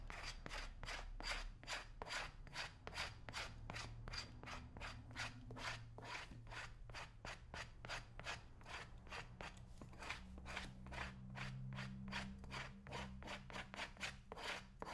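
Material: Leather.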